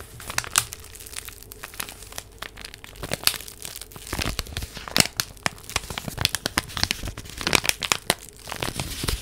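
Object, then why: Paper envelope. A small purple paper envelope is crinkled and rubbed with fingertips and long nails, held close to the microphone. Dense, bright crackling and crinkling come in quick sharp bursts with short tearing-like rustles over a faint low hum.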